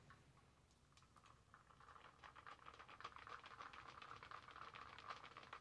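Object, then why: Reusable plastic cup with lid and straw. A large reusable plastic Starbucks cold cup with a lid and straw, partly filled with a pink drink, is held in one hand and tapped with long manicured nails. The result is a quick, irregular patter of soft, light taps with a hollow plastic tone around 1.2 kHz, gradually growing a little louder over the clip.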